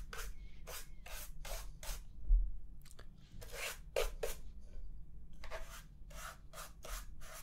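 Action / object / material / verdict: scrape / plastic laptop bottom panel brushed with a small bristle brush / plastic / none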